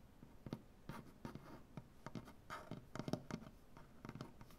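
One hand with dark-painted nails quickly scratches and taps a large solid maple butcher-block tabletop. The result is a quiet, rapid series of dry, short scrapes and soft knocks, mostly low and woody with little high brightness.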